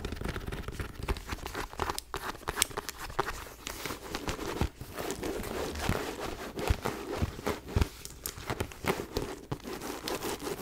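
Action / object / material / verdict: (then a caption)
scrape / faux leather backpack / faux leather / none. Long nails scratch and tap across a white faux leather mini backpack with gold grommets and a chain. Close, continuous crinkly scratching is broken by many sharp, bright taps that stop instantly with no ring. The sound stays dry and textured for the whole clip.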